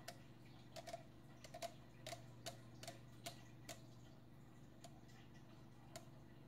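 Long painted nails tap and scratch the sides of a slim green Perrier aluminium drink can, hollow and probably unopened and full, held upright in both hands. A series of short, quiet clicking taps with a brief metallic ping around 680 Hz is heard, each dying away almost at once over a steady low hum.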